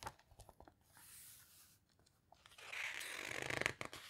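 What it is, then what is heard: Glossy paper book pages. Long-nailed fingertips rub and squeeze the glossy pages of an open hardcover guitar book near the spine, making several short, crisp scratching taps and a soft hiss. A page is then flipped, producing a louder, bright papery rustle and swish that ends the clip.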